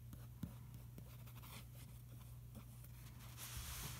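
A fingertip traces across the Finaflex ad page of an open glossy paper magazine lying on a carpet, staying on the same spread throughout. A quiet, steady scratchy rustle of skin on glossy paper plays over a low, constant hum, with one brief sharper tick early on. The tracing grows brighter and more hissy near the end.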